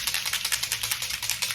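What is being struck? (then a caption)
Spray bottle with mixing balls. A bottle of SPF 40 resetting setting mist is shaken, and the mixing balls inside rattle in a quick run of bright, clicking hits. The rattling is mostly high-pitched with almost no low end, and each click dies away almost at once.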